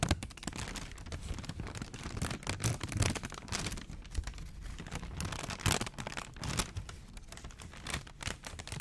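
A thin printed McDonald's paper sandwich wrapper is held flat in both hands in front of a microphone while fingertips crinkle it and scratch its surface. Dense, crackly crinkling and quick dry ticks run throughout, with soft low handling bumps and a few sharper bright crackles standing out.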